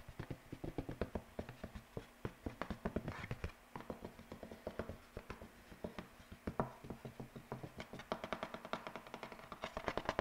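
A single white paper sheet is held close to the microphone and rubbed and flexed with the fingertips. It makes a fast, steady run of soft, dry crackles and ticks over a low rustle, with short bursts of brighter crinkling. The sound stays quiet throughout.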